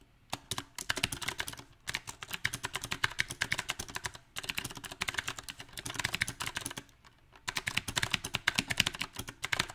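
Fingertips of both hands type on a small 68-key backlit mechanical keyboard with round typewriter-style plastic keycaps on a silver metal plate. Quick, bright clacking keystrokes come in uneven bursts of rapid typing, separated by short pauses. Each key strike is crisp and sharp, with very little low end.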